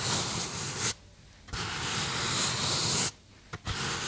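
Fingertips rub and squeeze the surface of a small white polystyrene foam box held in both hands. The result is a bright, dense, squeaky rubbing in three sustained stretches separated by short silent pauses, with a brief squeak just before the final stretch.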